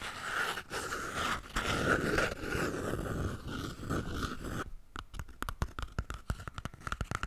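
Long painted nails scratch a small, full roll of white toilet paper held close to a microphone, making about four and a half seconds of dense, papery rasping and rustling. Then the nails switch to fast, light tapping on the roll, giving a quick run of soft, dull clicks.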